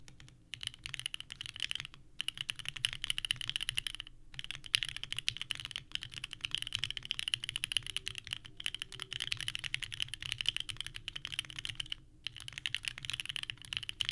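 Both hands type continuously with the fingertips on a small 65% mechanical keyboard with a purple case and white ABS keycaps resting on a desk mat. The result is a rapid, clacky stream of bright key presses with almost no ring, centered near 2.9 kHz, with brief pauses around 2, 4, 8.5 and 12 seconds.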